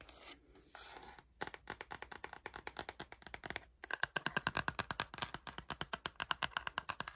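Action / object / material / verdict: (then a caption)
scrape / cloth-covered hardcover album / cloth, board / none. Long nails scratch and tap the front and back covers of a dark-green, cloth-covered hardcover album. A soft, bright scratching rustle gives way to a quick, uneven run of about fifty short, dry taps and scratches that stop dead, some with a faint ringing tone near 1 kHz. The whole clip stays quiet and close.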